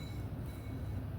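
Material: Nothing is struck.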